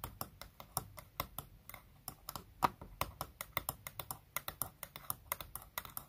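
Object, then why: Clear plastic makeup compact with pressed powder. Long natural fingernails tap rapidly on the clear plastic lid of a small round makeup compact holding solid pressed baked bronzing powder, stacked on another compact in a wooden tray. The result is a quick, steady stream of light, dry clicks, each ending almost instantly, which sounds much like typing on a keyboard.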